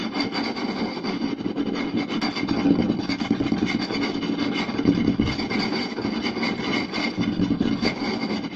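Two hands quickly scratch and tap a round solid wooden plate, seen close up, with fingertips and short nails. A dense, steady stream of rapid scratching and tapping blends into a continuous rasping texture with a warm woody body and a bright, scratchy top.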